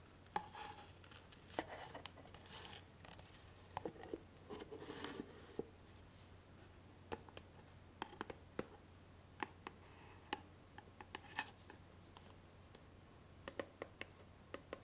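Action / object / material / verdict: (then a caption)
tap / small cardboard gift box / cardboard / none. Long painted nails and fingertips scratch and tap the surface of a small grey rectangular cardboard gift box with a satin ribbon bow; the box is hollow, and its lid is briefly opened, then held closed. Quiet, sharp, dry taps and brief scratchy rustles come in irregular bursts over a steady low hum.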